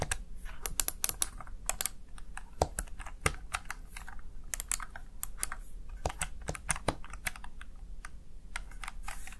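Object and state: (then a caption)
Plastic gaming keypad. Fingertips rapidly press the keys of a Razer Tartarus Chroma plastic gaming keypad. The result is a quick, uneven stream of short, sharp plastic clicks with bright attacks and almost no ring, over a soft low hum.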